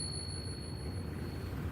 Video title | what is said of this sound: Coin glass, foreign coins, Silver dollar at melt? Fossil rock opens to show both sides of fossil. | that's a good ping sound listen to that closely